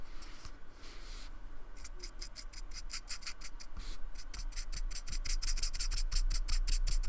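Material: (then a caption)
Polystyrene. A thin paintbrush scratches and rubs along the lower edge of a small, flat, solid square of painted white expanded polystyrene with a rough surface, held steady by fingertips. Quick, dry, bright brushing strokes repeat in a loose rhythm over a steady low hum, growing denser and louder toward the end.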